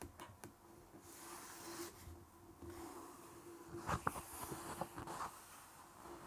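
Fingertips with short nails rub and scratch across the text and page edge of a large open art book with thick glossy paper pages, lying on a wooden table. Quiet, soft papery brushing swells and fades over a faint steady low hum, then a few sharper, brighter scratches stand out near the end.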